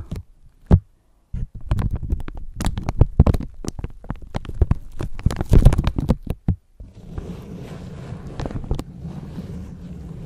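A thin clear plastic bag over a microphone is crinkled and pinched with long nails and fingertips, giving a dense run of short, sharp crackling bursts with bright edges over a heavy low thump, possibly with handling noise from the microphone underneath. After a brief pause, the crinkling gives way to a steadier, softer low rustling rumble with a few faint crackles.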